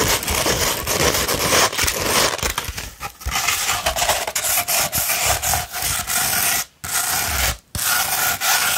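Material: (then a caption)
Sandpaper. Long red nails scratch along a sheet of 240-grit sandpaper rolled into a hollow tube. The result is a steady, bright, gritty rasping made of quick back-and-forth strokes, broken by two brief silent pauses near the end.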